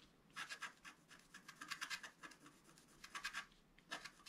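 A pointed wooden stylus scratches and rubs away the black coating of a flat, roughly A4 scratch-art card lying on a table. Quiet, dry scratching strokes come in irregular clusters of short bursts, with a hissy, bright texture centered around 1.6 kHz and almost nothing in the low end.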